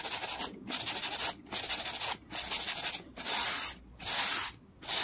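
A small solid wooden board resting on a towel is brushed quickly with a hand-held, black-bristled brush. About seven fast, scratchy strokes follow one another with short gaps between them. Each stroke gives a bright, hissing rasp with almost no low end.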